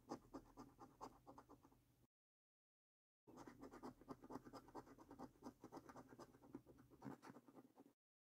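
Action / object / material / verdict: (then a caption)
scrape / paper scratch card with latex coating / coated card / none. A coin scratches along the symbol column of a thin, flat paper lottery scratch card with a latex coating, making quick, uneven rasping strokes. After about two seconds of scratching there is a brief silent pause, then the scratching resumes in a steady run of short, dry scrapes until the end.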